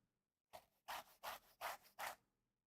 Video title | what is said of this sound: Naked & Famous Denim Live Stream - August 12, 2022 | if you could hear it just how crispy the denim is maybe that would give you some sort of indication of how how they felt